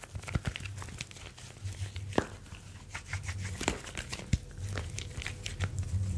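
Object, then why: Smartphone with glass screen and metal back. A smartphone with a glass screen and a metal back is held in both hands while fingertips rub and tap its metal back and glass front. Soft, crinkly rubbing and low handling rumble are broken by sharp, dry taps with bright clicks that die away almost at once, all at a quiet, close level.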